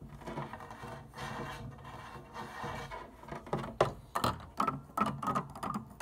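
Long painted nails tap and click quickly across plastic white and black organ keys, heard up close at key level. The first half is a soft, busy patter of light clicks, then the taps turn sharper and more separate, each a short woody-plastic knock with a faint mid-pitched ring and no notes played.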